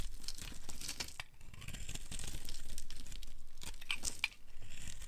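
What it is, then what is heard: Dry soap bar being carved. A solid, light blue, oval bar of dry soap is held in the hand and shaved into flakes with a metal blade. The carving makes a continuous dry, crackling scrape with a tearing, crumpling texture over a deep low rumble, with a few sharp, bright clicks near the end.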